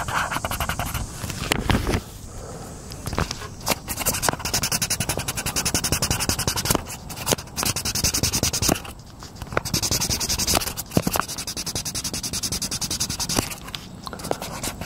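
A hand rubs a green oil pastel or crayon back and forth across a page of an open paper coloring book on a wooden picnic table, coloring in a tractor picture. Dense, bright scratching strokes come in bursts with short pauses between them. Each stroke is dry and clipped with almost no ring.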